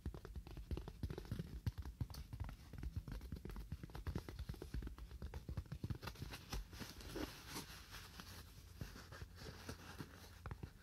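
A styrofoam block is tapped with fingernails at a moderate to fast pace. The result is a steady run of short, dry, muffled taps with very little ring, heavy in low thuds around 90 Hz with faint scratchy clicks on top.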